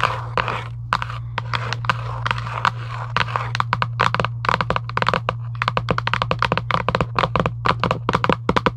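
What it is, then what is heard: Cardboard card box tapped with fingernails. Long acrylic nails on both hands tap quickly on a flat printed cardboard UNO card box lying on a table, making dense, dry, crisp clicks. The taps start in a softer scratchy patter, then sharpen into dozens of fast, distinct clicks. A steady low hum runs underneath throughout.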